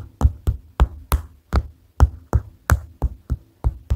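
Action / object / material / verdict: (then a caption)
tap / paper notepad / paper / none. Fingers tap on a paper notepad in 11 quick, separate taps over four seconds at an uneven pace. Each tap is a short, dull, low thump that dies away almost at once.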